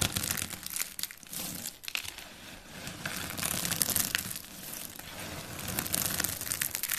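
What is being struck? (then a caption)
Soap shavings and flakes. Fingertips with painted nails crumble, crush and rub a pile of white, dry, brittle soap shavings and flakes on a wooden board. A dense, continuous run of bright, dry crinkling and crunching crackles comes through, with no ring after each crunch.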